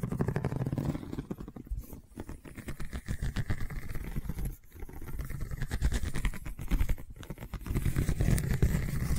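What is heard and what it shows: Long nails scratch along a long cylindrical woven seagrass tube covered in a straw weave, producing a dense, rapid, rough scratching. The sound is heavy in the lows with little brightness, and the run of strokes breaks into brief pauses before resuming.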